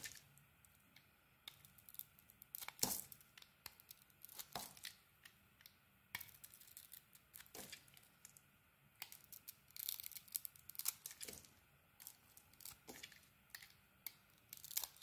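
A utility blade scrapes shavings off a solid green and white bar of soap. The clip is a quiet run of many short, bright, crisp scraping and crackling strokes, some louder than others, separated by brief near-silent gaps.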